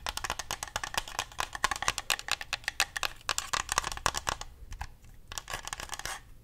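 Fingernails tap and click rapidly on the buttons and shell of a hand-sized, hollow white plastic Xbox controller. The result is a dense run of short, sharp, bright clicks with almost no ring and a faint tone near 1.1 kHz. The tapping briefly thins out before picking back up toward the end.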